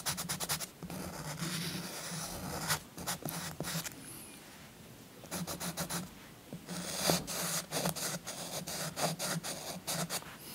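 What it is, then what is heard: Chalk scratching on paper. A purple chalk stick is scratched repeatedly along the scooter outline on a paper coloring book page resting on a soft cloth, coloring it in. Bursts of dry, gritty scratching with bright, airy edges come in quick strokes, separated by brief quiet pauses, over a faint low hum.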